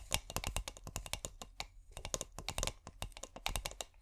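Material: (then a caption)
Glass. Long painted nails tap and scratch a small clear corked glass bottle filled with fairy lights, held cork-up. A rapid, uneven run of quick, dry clicks follows, each with a bright edge and a soft low thud, dying away almost instantly like fast typing.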